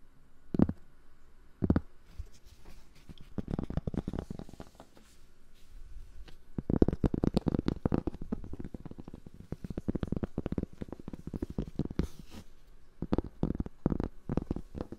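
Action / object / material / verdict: scrape / cork board / cork / none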